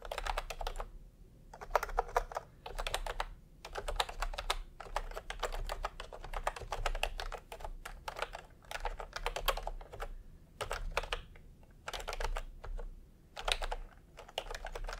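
Fingertips type in continuous taps on a full-size plastic typewriter-style computer keyboard with round retro keycaps in peach and cream, lying on a white cloth. Bursts of rapid, crisp, bright key clicks come in runs separated by short pauses, each click dying away almost instantly over a steady low rumble.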